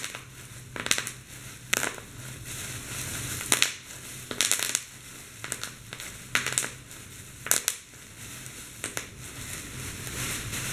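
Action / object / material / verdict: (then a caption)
flick / plastic bubble wrap / plastic / none. A bunched sheet of clear plastic bubble wrap is squeezed in a fist while fingers pop the bubbles. Sharp, bright pops and crackles burst out in clusters over a steady crinkling hiss of the plastic.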